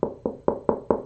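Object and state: Canvas board.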